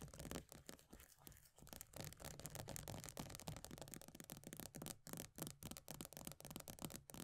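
Long nails quickly scratch and tap the base of an upside-down plastic body butter tub, a pale green plastic base with a paper label. Dry, short clicks fall in a fast, uneven rhythm over a steady scratchy rasp that carries into the bright highs. The sound stays fairly quiet throughout.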